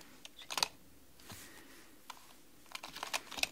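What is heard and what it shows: Long manicured nails and fingertips type rapidly on a black mechanical computer keyboard with plastic keys. Sharp, bright, clicky taps come in quick bursts separated by brief quiet pauses, each click dying away almost instantly.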